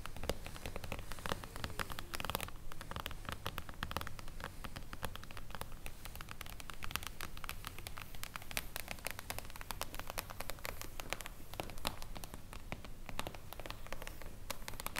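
Long blue acrylic nails tap rapidly and continuously on a solid, flat reflective glass mirror tabletop. The result is a dense stream of short, sharp clicks and scratchy ticks over a steady low hum.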